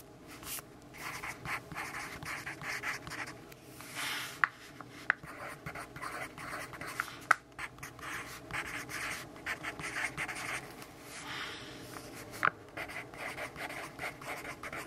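A yellow pencil scratches across the pages of a paper notebook resting on a wooden table while writing a list. Soft, bright, dry scratching strokes come in quick bursts and pauses, with a few sharp, short ticks standing out above the steady scratching.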